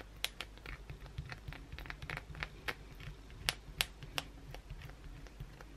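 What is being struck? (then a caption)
Bar of soap scratched with acrylic nails. Long, pointed blue acrylic nails aggressively scratch a solid white bar of soap that is held and resting on a towel, leaving flakes on the towel. Quiet, dry scraping is broken by sharp, bright clicks and ticks that die away instantly, over a low, steady hum.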